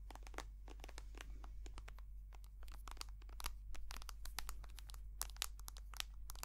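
Long nails tap and scratch a white soft plastic cream tube held close to the mic, making a rapid, uneven run of short, sharp clicks and crinkly scrapes. The bright ticks snap off instantly over a steady low hum and grow a little louder and sparser in the second half.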